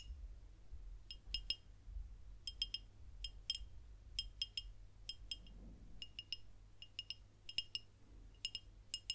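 A dark glass beer bottle with a paper label, held horizontally, is tapped with long nails along its body. Quick, bright, glassy clinks come in irregular clusters, each with a clear pitch near 2.9 kHz and a very short ring. A steady low hum sits underneath throughout.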